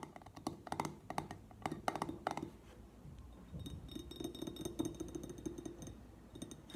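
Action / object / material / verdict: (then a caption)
tap / glass jar with metal twist lid / glass / none. Fingertips and nails tap the top of the pink-printed metal twist lid and the glass of an empty clear glass jar. Quiet, sharp clicks and light clinks with a very short ring near 750 Hz come in quick clusters, then ease into softer, denser tapping and brushing with faint high tones.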